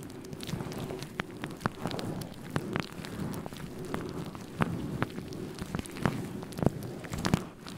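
Fingertips rub, squeeze and scratch a grey-white faux fur windscreen on a microphone, producing a dense, muffled rustling bed with a steady low hum. Many short, sharp crackles and scratches pop out irregularly across the clip.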